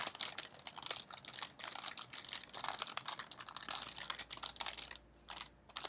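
A medium Smartfood snack bag of shiny blue metallized plastic, partly full of popcorn, is held up, then crinkled and squeezed with the fingertips. It gives dense, bright, crackling crinkles in quick sharp bursts with almost no low end. The crinkling drops to a near-quiet lull around the five-second mark before starting again.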